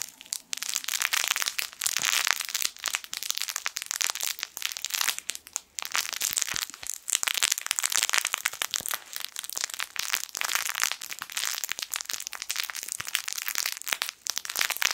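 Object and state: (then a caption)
Crinkle toy (crinkle film inside fabric). A yellow sun-shaped plush fabric crinkle toy with crinkle film inside is squeezed and crinkled with fingertips. It makes dense, bright, crackly crinkling that runs almost nonstop, with brief pauses and almost no low end. Each crackle snaps off instantly, with no ring.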